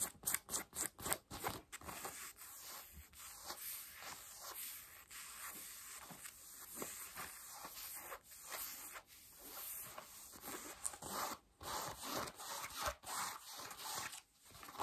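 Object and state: Denim jeans being scratched.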